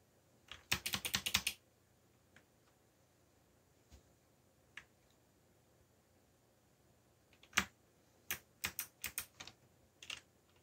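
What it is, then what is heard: Plastic mechanical keyboard. Fingertips type on a backlit mechanical computer keyboard with black plastic keycaps. A rapid flurry of bright, crisp clicks comes first, then a few scattered single taps through a quiet stretch, and finally another run of sharp keystrokes. Each click is short and snappy with almost no low end.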